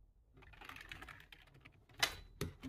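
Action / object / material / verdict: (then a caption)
tap / plastic computer keyboard / plastic / none. Fingertips of both hands type on a low-profile plastic computer keyboard, shown close up. A quiet, rapid clatter of bright key taps builds and fades, then two louder, sharp clicks stand out near the end.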